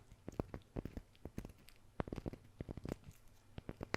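Fingers tap a wooden surface as an ASMR trigger, recorded on a Maono DM30 RGB gaming microphone. Quick, irregular, soft knocks land in a loose patter. Each tap is dull and low-heavy with a short click on top and stops dead with no ring.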